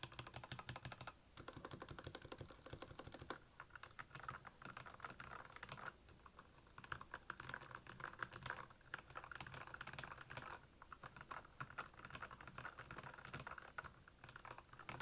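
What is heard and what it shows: Fingertips type steadily on the keycaps of a black, backlit Royal Kludge plastic mechanical keyboard. A dense, rapid stream of short, dry clicks centers around 1.4 kHz with a bright top, broken by brief pauses.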